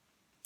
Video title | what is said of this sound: Favourite Items No 20 - holiday platters, Merry Christmas! | it doesn't ring so that means it's a little bit crazed